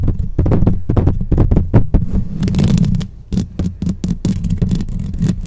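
Long nails and fingertips rapidly scratch and tap on the rounded metal mesh grille of a black microphone with a hollow head. The result is a dense stream of close, muffled thumps and scraping rumbles, boomy and low around 190 Hz, with brighter scratchy hiss breaking through in the middle and later passages.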